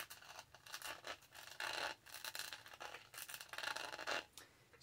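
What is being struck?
Studded plastic tumbler.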